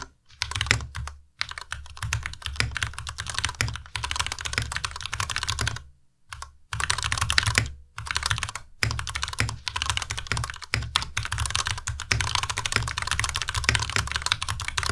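A white tenkeyless Ducky Miya Pro mechanical keyboard with plastic keycaps and linear switches is typed on steadily by two hands using fingertips. Rapid, bright key clacks come with a low thud under each keystroke, broken by brief pauses near 1.3, 6 and 8 seconds.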